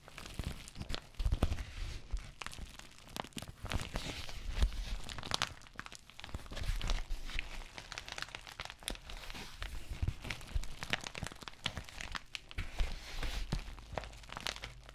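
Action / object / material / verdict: scrape / plastic bubble mailer envelope / plastic / none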